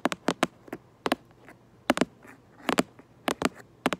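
Long nails tap and scratch the back of a cardboard Lego box held up close, giving sharp, dry clicks in quick pairs and small clusters with faint scratchy traces between them. The hits are short and bright with almost no ring, over a quiet background.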